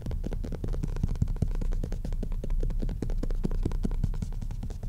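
Fingertips and nails of both hands quickly tap and scratch the front cover of a solid maroon cloth-covered hardcover book lying flat on a desk. The result is a rapid, steady patter of dull, low thuds with almost no ring, mixed with soft scratching.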